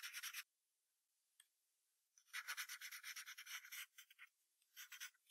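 A yellow wooden pencil draws a fox's legs near the bottom of a white paper sheet resting on a brown hardboard clipboard. Bright, scratchy graphite strokes rasp and rub against the paper in quick bursts: a short flurry, a quiet pause with one faint tick, then a dense run of back-and-forth strokes. A few shorter scribbles and a final brief flurry follow.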